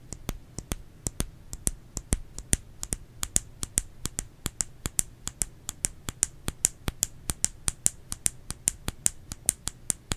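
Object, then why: Bar of soap. Fingers tap a solid bar of soap in a quick, uneven run of crisp taps over about ten seconds. Each tap is a sharp, dry click with a bright, high edge and almost no ring, over a faint low hum.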